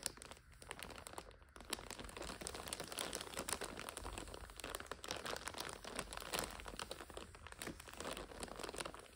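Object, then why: Plastic overwrap on a noodle multipack. Long nails scratch and crinkle the clear plastic overwrap of a full purple 5-pack of instant noodles resting on a sofa. The result is a dense, continuous stream of bright, crackly crinkles and scratchy rustles, with a brief softer dip early on before it settles into steady crinkling.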